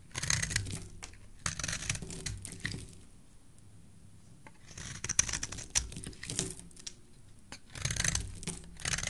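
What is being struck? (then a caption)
Bar of soap shaved with a blade. A black utility knife blade shaves curls off the edge of a solid, hand-sized green rectangular soap bar held in a hand with dark painted nails. Bright, crisp scraping and crackling come in bursts of carving strokes, separated by quieter pauses.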